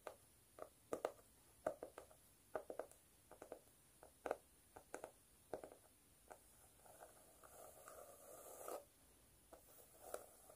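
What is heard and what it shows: Long stiletto nails tap and scratch a notebook with a flat speckled cork cover, held upright with a highlighter alongside that is not struck. Quiet, dry, short taps with a muted midrange tone come in uneven bursts, with a longer soft scraping stretch near the end. Each tap dies away almost instantly with no ring.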